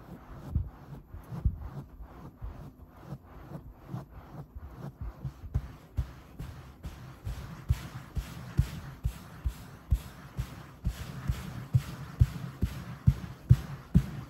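Fingertips and nails scratch and pat a low-pile beige textile carpet on the floor, a flat, soft surface. Muffled, dull pats land at an uneven pace over soft, brushy scratching, the sound sitting almost entirely low, with a faint steady high whine in the background. The taps grow somewhat louder and sharper toward the end.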